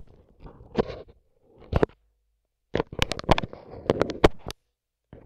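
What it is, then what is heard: Plastic-wrapped microphone capsule. A microphone with its grille removed has its dark capsule covered in clear plastic film and blue tape, and the tip of a wooden skewer held in a gloved hand pokes and rubs it. Soft, crinkly rubbing with low, muffled thumps comes in short bursts separated by silence, with sharp, close taps that snap up bright and stop almost instantly.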